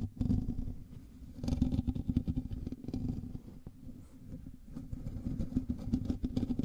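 A black microphone's hollow metal mesh grille is scratched with the fingernails of both hands. Dense, rapid scratching and tapping comes through as low, boomy rumbling with faint bright rasp, rising and falling in waves throughout.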